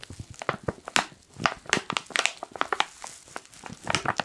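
A black foil coffee pouch is crinkled and rubbed with fingertips, giving a rapid run of sharp, bright crackles and crisp rustling. The dense, irregular bursts have almost no low end and stop quickly between crinkles.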